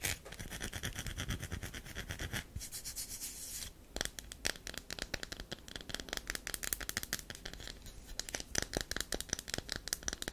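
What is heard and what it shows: Long nails scratch and rub the powdery, scraped surface of a round, solid bar of soap held in the hand. The first few seconds are a continuous, bright rasping rub, followed by a steady run of quick, dry, high-pitched scratches close to the ear.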